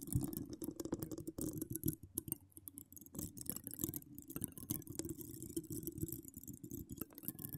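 Long acrylic nails decorated with donut charms and wire spirals scratch and tap, with both hands, the hollow, dome-shaped woven metal mesh grille of a large USB condenser microphone that has no foam cover. The result is a dense, continuous stream of close, crackling scratches and quick taps, heavy with low, muffled thumps and edged with faint bright crackle. Each tap dies away almost at once.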